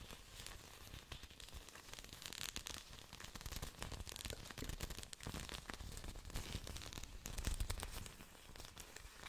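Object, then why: Thick orchid plant leaves. Long pointed nails tap and scratch thick, glossy green orchid leaves, making a steady run of dense, crackly clicks and rustling scrapes. The sound is quiet and close, with a low thump under bright, crisp surface noise.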